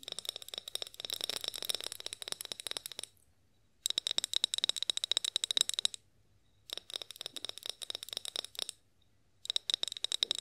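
A tall clear glass olive oil bottle with a spout, partly filled, is held upright and then tilted while being tapped with long acrylic nails. Bursts of rapid, crisp, bright clicks have a high glassy ring, separated by brief silent pauses.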